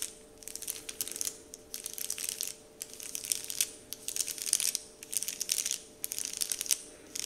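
Fingers crinkle and a hand rubs a large, flat, heart-shaped Dove-printed paper candy wrapper sheet. It makes slow, gentle bursts of bright, crackly rustling separated by short quiet pauses, over a faint steady tone. The sound is almost entirely high and crisp, with very little low end.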